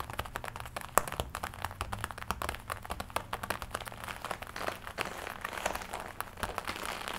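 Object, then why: Leather jacket. Long nails tap and scratch the chest and shoulder of a glossy black leather jacket worn on the body. Rapid, dry clicks overlap with crinkly scratching, with one sharper tap standing out near the start. The sound is short and close, with no ring after each tap.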